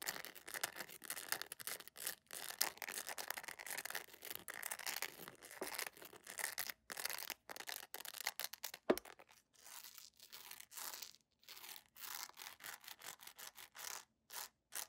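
Long nails scratch the flat textured sole of a beige PVC jelly sandal in a fast, dense run of bright, dry scraping. After a brief sharp accent, the straps are rubbed, giving sparser, shorter bursts of hissy friction separated by quiet gaps.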